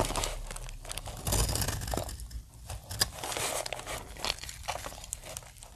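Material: Soap.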